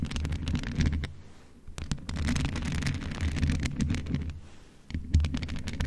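Long nails of both hands scratch and tap the mesh grille of a hollow, grey metal USB condenser desktop microphone. The result is a dense, boomy low rumble centred around 78 Hz, with sharp clicks and ticks throughout. The sound eases into two brief quieter stretches before building back up.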